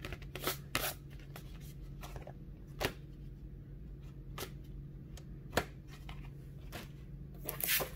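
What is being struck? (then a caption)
Thin kraft cardboard folder. Fingertips rub and scratch across the surface of a small, flat, rectangular kraft cardboard folder, thin and light, held in the other hand. Soft, dry scratchy rustles are broken by several sharper broadband scrapes that stand out above a steady low hum, with a bright, brushing swell at the end.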